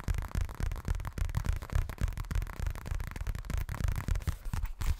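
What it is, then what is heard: Fabric cosmetic pouch. A hollow pink leopard-print zippered toilet bag of what seems to be coated fabric is held in both hands and tapped and scratched quickly with fingernails. The sound is a fast, uneven run of dull, low, muffled thumps with a soft scratchy crackle between them, each tap dying away almost at once.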